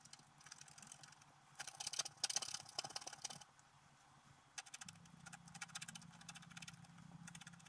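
A thin wooden stylus scratches short strokes into the black wax coating of a flat A4-sized scratch-art card with a colored holographic base, held steady by fingertips as it lies in a book on a table. Dry, bright scraping and crackling comes in bursts, with a louder cluster of strokes early on, then quieter rhythmic scratches over a low steady hum in the second half.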